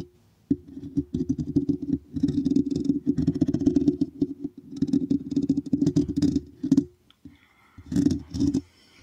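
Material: Metal mesh.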